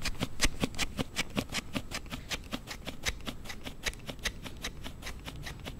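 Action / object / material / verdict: scrape / hard plastic slide case on a smartphone / plastic / none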